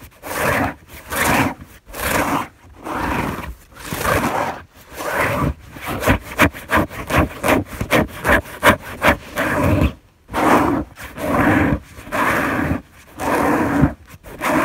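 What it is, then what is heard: Fabric bed sheet being scratched. Fingers with long nails scratch and gather a white fabric sheet on a bed, producing rough, hissy scraping and rustling. The sound comes in about a dozen uneven bursts separated by brief pauses, with the energy centered in the midrange.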